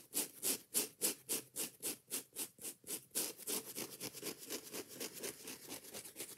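Long nails rapidly scratch and tap a yellow foam kitchen sponge with a green scouring pad, making about twenty quick, evenly paced rasping strokes. Each stroke is bright and scratchy with a soft, hollow low-mid body and dies away almost at once. The strokes grow quieter and run closer together toward the end.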